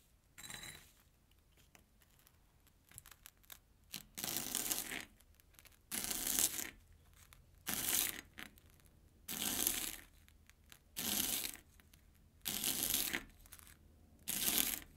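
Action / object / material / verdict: scrape / airy corn puff snack stick cut with a knife on a plastic board / corn puff / none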